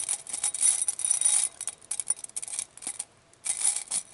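A clear glass bowl full of small glass glitter vials and beads, held in a hand with long nails, is shaken and turned so the contents clink against the glass. Bursts of bright, high, rattling clinks come and go with brief quieter gaps.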